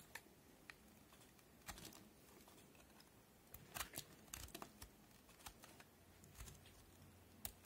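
A utility knife blade cuts crisp notches into the edge of a solid white cream soap bar held in the fingers. Short, sharp, bright snaps and scrapes come in an irregular series over a quiet, low background, each one dying away almost instantly.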